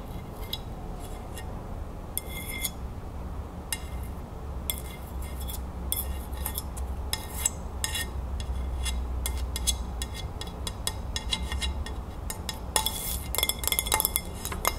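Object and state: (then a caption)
Ceramic plate. A fingertip and long nails tap and scratch the glazed surface of a white ceramic dinner plate with a green crown print, held upright. Quick bright clicks and brief scratchy bursts come in irregular, sometimes rapid clusters over a steady low hum, growing busier toward the end.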